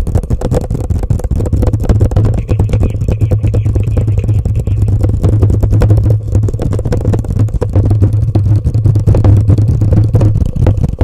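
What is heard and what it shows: A hollow, empty orange plastic cup sits upside down over a microphone and is tapped and scratched quickly with long painted nails and fingertips. The result is a dense, continuous stream of rapid taps and scrapes over a deep, booming low hum near 100 Hz, with almost no bright content.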